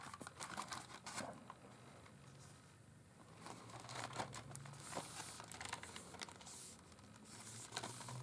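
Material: Cardboard.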